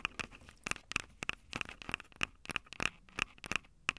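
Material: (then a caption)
Metal. Long acrylic nails tap and scratch the two metal-grilled mic capsules on top of a Tascam DR-05 handheld recorder, whose plastic body is small and hollow. Quick, uneven clicking taps with a bright metallic ping near 2.7 kHz alternate with dry, crinkly scratching. Each tap dies away almost at once, with very little low end.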